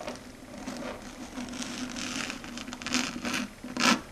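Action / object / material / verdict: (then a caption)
scrape / chalkboard scraped by fingernails / slate board / none. Long red stiletto nails rub and scrape back and forth across a flat, matte dark grey chalkboard. The result is a continuous dry, scratchy rasp with a steady low tone around 240 Hz underneath and bright, hissy surges as the strokes change direction. The loudest, sharpest scrape comes near the end before it fades.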